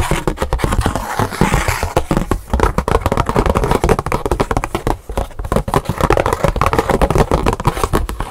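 Long pink nails rapidly tap and scratch the surface of a thin black scratch-art paper card with colored lettering, held up in the hands. A dense, continuous stream of quick, dry clicks and scratchy rustles, mostly low and thumpy, with no speech.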